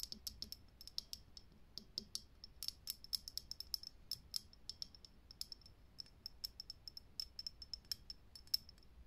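Long nails tap quickly on a lit, hollow, clear glass vintage filament light bulb. The result is a steady stream of many sharp, quiet clicks with a bright, high glassy tick and almost no ring.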